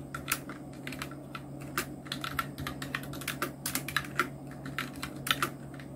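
Fingertips of both hands type on a full-size black Nubwo Illution NK-70 mechanical keyboard with Outemu red switches, round plastic typewriter-style keycaps and blue backlight, resting on a white desk. The quiet, steady stream of short, clicky plastic key strikes comes in irregular bursts over a faint constant low hum.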